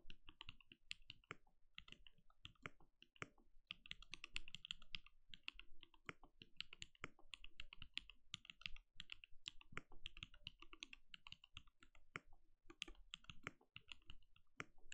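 A compact RGB-lit mechanical keyboard with a translucent plastic case and plastic keycaps sits on a desk and is typed on steadily with the bare fingertips of both hands. A fast, continuous stream of short, dry key clacks is heard, each with a low thud and a bright click that dies away almost instantly.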